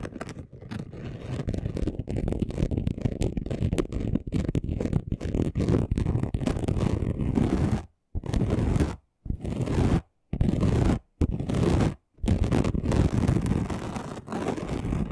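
Short nails scratch the surface of a flat, chunky gold glitter craft sheet, producing a dense, gritty scraping texture that is heavy in the low end. A continuous stretch of fast scratching runs for about eight seconds, then breaks into several short bursts separated by brief silences.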